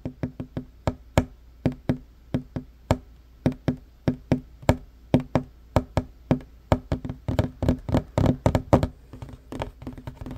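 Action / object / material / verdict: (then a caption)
tap / wooden table top / wood / none. Fingertips and short nails of both hands rapidly knock and tap on a flat, solid wooden table top. Each hit is a short, dry, woody knock with a low body and a very quick decay. The taps start as an evenly spaced run and grow denser, crowding into quick clusters toward the end.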